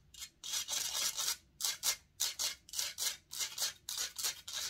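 Long nails and fingertips scratch and rub the hollow metal mesh grille of a silver condenser microphone. The result is a quick, uneven series of bright, hissy scraping bursts with almost no low end, each stroke cutting off into brief silence.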